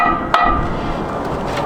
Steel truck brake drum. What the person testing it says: the drum is going to have a different sound to it when you tap on it then it's going to more ring like a bell